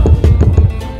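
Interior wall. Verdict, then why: Hollow. Four low, hollow knocks on an interior wall in a mansion, each a dull thud with almost all its energy in the low range and a very short ring. The wall sounds hollow, and a space is found behind it once it is broken through.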